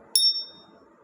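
A genuine jade piece is struck once and gives a bright, high ping. The ring holds a clear tone around 3.7 kHz that fades within about half a second. The clear, sustained ping marks the piece as real jade rather than a treated one.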